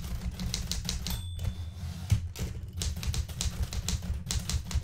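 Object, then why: Metal manual typewriter. Fingertips with red-painted nails type on the plastic keys of a blue metal portable manual typewriter. A steady run of sharp, bright key clacks sits over a low, dull rumble, with a brief thin ringing tone early on. The typing continues in quick, uneven bursts to the end.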